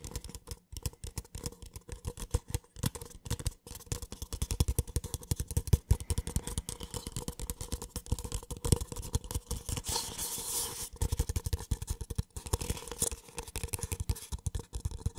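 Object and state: Empty paper cup.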